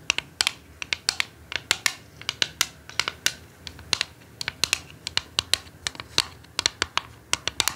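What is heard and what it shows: Long acrylic nails tap and scratch the lid of a flat, rectangular, hollow, translucent red plastic Ferrero Mon Chéri chocolate box held on a table. Dozens of sharp, bright clicks arrive in an uneven, typing-like rhythm, with faint scratchy rasps between them. Each tap is dry and stops almost at once, with barely any low end.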